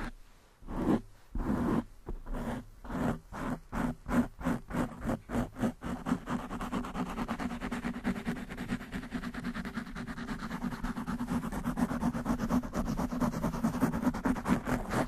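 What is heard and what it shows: Long manicured nails of both hands scratch fast at a black foam windscreen on a desktop microphone. Short, separate rasping bursts come first, then merge into a dense, continuous scratching texture with a steady low-mid tone around 250 Hz and little high-end content.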